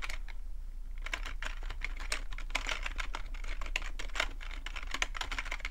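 Fingertips type steadily on a black full-size plastic computer keyboard resting on a rug, producing a continuous stream of quick, bright plastic clicks and taps. The clicks are short and dry, lighter in the first second before settling into an even rhythm over a steady low hum.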